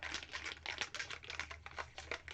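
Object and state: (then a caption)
Spray paint can with rattling mixing ball. A metal can of Montana liquid gold spray paint is shaken, and the little metal mixing balls inside rattle with rapid, bright clicking, a sign that the paint is mixing. The clatter is steady and dry, with quick rattles that die away almost immediately and very little low end.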